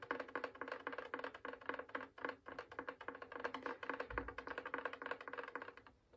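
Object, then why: Wooden violin body. A full-size hollow wooden violin with a varnished spruce and maple body is held upright while its top near the fingerboard is tapped quickly with dark-painted fingernails and fingertips. The result is a rapid, uneven stream of light, dry wooden knocks. Each knock has a short hollow resonance around 490 Hz and dies away almost instantly.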